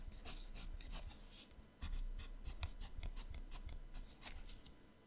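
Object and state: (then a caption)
Pencil shading on a paper sketchbook page. A yellow colored pencil shades with rapid strokes on the right page of an open paper sketchbook. Quick, dry scratching strokes of pencil rubbing on paper follow one another in short bursts of bright hiss over a low, quiet rumble.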